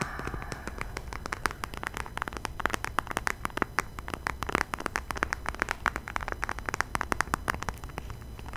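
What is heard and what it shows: A small, flat, closed burgundy leather wallet or pouch is held close to the microphone while fingertips and nails tap and scratch its surface. The result is a dense, quiet stream of very short, dry clicks and scratches with almost no ring, carrying bright high-frequency detail over a low background rumble.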